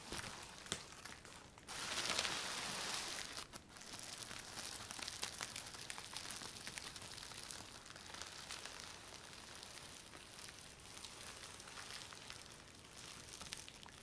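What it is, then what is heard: Plastic bubble wrap sheet. Fingertips with painted nails tap and scratch across a large flat sheet of clear plastic bubble wrap laid over a styrofoam box. The result is a steady, quiet stream of bright crinkling, ticking and scraping, with a louder, denser hiss of crinkling from about 1.7 to 3.2 seconds.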